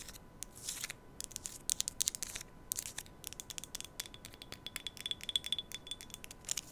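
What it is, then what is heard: Glass tea cup tapped and scratched with nails. A small, empty, white-patterned glass tea cup is held against a microphone in both hands and tapped and scratched with long nails. Quick, bright clicks and dry scratching bursts come in rapid clusters, with a faint ringing tone near 3.4 kHz appearing during the later taps. The sound is quiet and close, almost all in the high range, with each tap dying away instantly over a faint steady hum.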